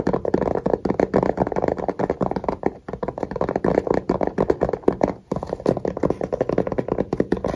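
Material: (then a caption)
Fabric, hard plastic. Fingertips and short nails rapidly tap and scratch a small, hollow black hard-shell case with a fabric cover and a red zipper. The result is a dense stream of dry, muffled mid-pitched knocks and soft scratches with almost no ring, briefly pausing just before 3 seconds and again past 5 seconds.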